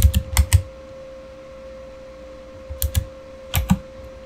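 Fingertips type on a backlit Razer mechanical keyboard with plastic keycaps, giving sharp, short clacks with a low thump. The keys are struck in three bursts: four quick hits at the start, a pair near the 3-second mark, and a pair near the end, with a quiet gap in between. A faint steady tone hums underneath.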